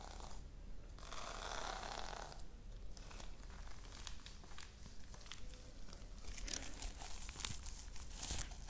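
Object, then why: Sequin fabric pouch. A pink reversible-sequin fabric pouch is rubbed and swiped with fingertips and long nails close to the microphone. Continuous scratchy, crinkling rustles and brushing swipes, with brief bright ticks of sequins flipping, sit over a steady low rumble.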